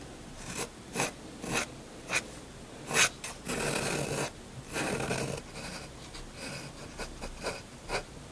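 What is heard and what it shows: A steel extra-fine nib of a Faber-Castell Hexo fountain pen, held in the fingers, draws across a flat sheet of white drawing paper lying on a desk. Its bright scratching comes in short strokes with a few longer continuous passes. The sound is dry and quiet with no ring after each stroke.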